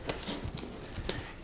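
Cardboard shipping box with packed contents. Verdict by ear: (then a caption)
Tight. A packed cardboard shipping box with a camera inside is shaken to check that it sits solidly, giving dull thumps and soft brushing noises with no rattle. Four thumps stand apart, and the lack of rattling shows the camera is packaged well.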